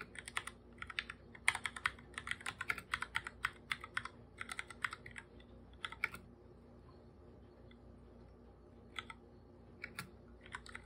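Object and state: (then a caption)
Plastic computer keyboard being typed on. Bare fingertips type on a full-size black computer keyboard with plastic keycaps, making quick, bright, hollow plastic taps that die away almost at once. The taps come in rapid bursts for about six seconds, stop for a quiet pause of roughly three seconds, then pick up again until the end.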